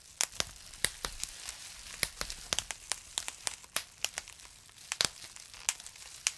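Two twisted bunches of clear plastic bubble wrap, one held in each hand, are wrung and pinched by the fingertips so the air bubbles pop. The result is an irregular run of sharp, bright snaps with almost no ring, over a soft crinkling hiss.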